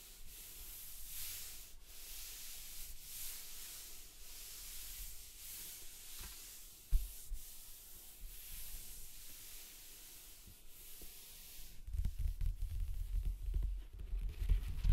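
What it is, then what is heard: Paper sheets rubbed by hand. Fingertips and palms with long nails rub and slide across a stack of white printer paper lying flat on a black cloth, with a red pencil case sitting untouched nearby. Soft, bright, papery swishes come in loose repeated strokes, broken by one sharp tap midway. Louder, heavier handling with low thumps builds toward the end.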